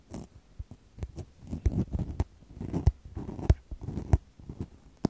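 Long decorated false nails rub and scratch two small, soft, porous black foam microphone windscreens held in the hands near the recorder. The result is an irregular run of quiet, muffled scratching and rustling with dull low thumps, little high-frequency hiss, and almost no ring after each stroke.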